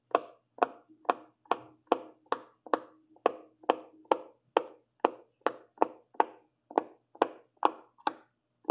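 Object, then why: Silicone pop-it fidget toy. A fingertip presses down the hollow bubble domes on the orange and yellow section of a silicone pop-it fidget toy. Twenty crisp, hollow pops sound at a steady pace of about two per second. Each has a short mid-pitched body and a bright click that dies away almost at once.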